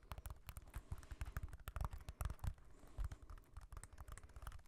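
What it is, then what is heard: Mirror glass disco ball. Fingertips tap and scratch over the small orange and pink mirror glass tiles of a small hand-held disco ball with a hanging string loop, held close to the mics. The result is a quiet, rapid, irregular patter of short, dull taps with a deep low thump, mixed with faint bright clicks and scratchy rustling that stop almost instantly.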